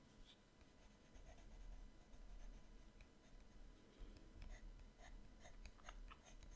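An orange colored pencil draws and shades on the right-hand page of an open paper sketchbook lying flat on a table. The result is a soft, quiet scratching and rubbing of pencil on paper, with light strokes over a low background hum.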